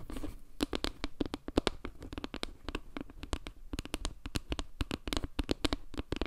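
Long fingernails rapidly tap and scratch across a solid, round board made of wooden log slices with dark center tiles. A dense stream of sharp, dry clicks with almost no ring reaches up into the bright highs, over a soft low rumble and a faint tone near 290 Hz. Quieter scratchy rustling runs between the taps.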